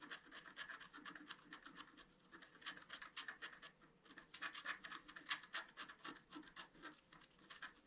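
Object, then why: Scratch-art paper card scratched with a wooden stylus. A pointed wooden stylus scratches across a flat A4-size scratch-art card, black coating over a colored foil layer, lying on a table. Dozens of quick, uneven strokes, about four a second, make a dry, bright raspy scratching with a high hiss and almost no low end. The result is a steady, soft stream of short scraping sounds.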